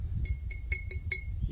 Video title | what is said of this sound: Cremation Urn; Primitive Pottery | you can hear that it rings well